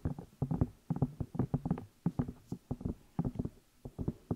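Fingertips and long nails tap and rub the outside of the two hollow rubber or silicone ear pieces on a black binaural microphone. About twenty short, dull, low thumps arrive in quick irregular clusters, each dying away almost at once, with faint scratchy rubbing between them.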